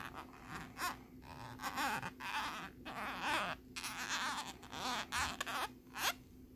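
A thin plastic lenticular nebula card is scratched rapidly with the tip of a bobby pin and with fingernails. Bursts of bright, raspy scratching come with quick rising squeaky chirps, separated by short quiet gaps over a faint steady low hum.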